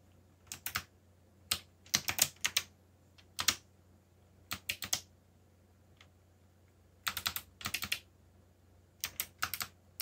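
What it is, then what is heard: Plastic mechanical keyboard. Fast fingertip typing on a backlit mechanical keyboard with black plastic keycaps produces about 29 sharp, bright keystroke clicks in quick bursts separated by short pauses. Each click dies away almost instantly, over a faint, steady low hum.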